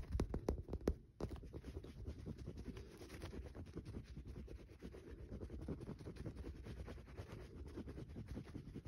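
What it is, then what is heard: Bar of soap. A solid green bar of soap held in the fingers is tapped and scratched rapidly with fingernails, shedding shavings onto a dark cloth below. A few separate soft, low taps open the clip, followed by a short pause and then steady, dense scratching with quick muted ticks, all quiet and dull with little brightness.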